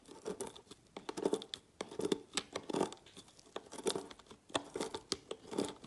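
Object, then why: Soap bar shaved with a knife. A large metal knife repeatedly slices thin, flaky shavings off a solid orange-pink bar of soap resting on a textured mat. Each stroke gives a dry, crisp scraping rasp, like a short tear, with a warm midrange body and a bright hissy edge. The strokes come in quick, uneven bursts with brief quiet gaps between them.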